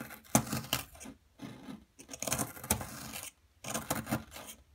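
A wooden-handled metal chisel scrapes and chips at the surface of a solid, palm-size blue plaster dig block steadied by one hand, with loose plaster powder lying beside it. Three bursts of gritty, bright scraping and sharp little chipping clicks are separated by short quiet pauses, each click dying away almost instantly.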